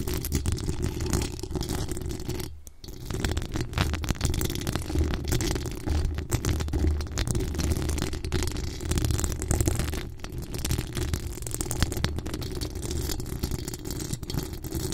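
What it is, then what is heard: Metal mesh microphone grille. Long acrylic nails on both hands scratch and tap the hollow metal mesh grille of a pink rhinestone-decorated USB microphone. The result is a dense, continuous scratching and rustling that is heavy in low, rumbly tones, with quick tapping textures throughout. There is a brief dip in loudness around 2.5 seconds.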